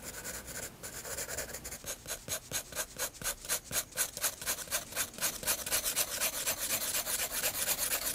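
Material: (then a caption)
Paper. A graphite pencil shades the face of a flat white paper page in a spiral sketchbook with scratchy rubbing strokes. The steady back-and-forth strokes come about two per second as bright, hissy rasps with almost no low end, building slightly louder toward the end.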